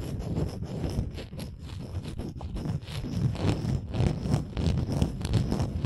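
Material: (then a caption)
Wood. Long nails scratch and tap on a textured wooden ornament. The result is a steady, irregular stream of soft, dull taps and rough scraping, with most of the sound low and muffled and no voice.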